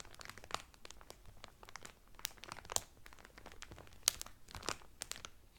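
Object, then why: Cotton towel in a cellophane wrapper. Fingertips and nails of both hands rub and crinkle the clear cellophane wrapper around a flat folded cotton towel. The result is quiet, bright, irregular crackling, with sharp snapping crinkles standing out above a soft rustle.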